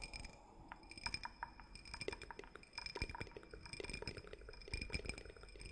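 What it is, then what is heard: Glass cup, tapped and scratched. A small, empty, hollow clear drinking cup, likely glass though possibly clear plastic, is held in both hands close to the mic and tapped and scratched with fingertips and fingernails. Quick, irregular clinks and ticks come in dense clusters over a soft scratchy rustle, each with a brief bright ring that dies away almost at once.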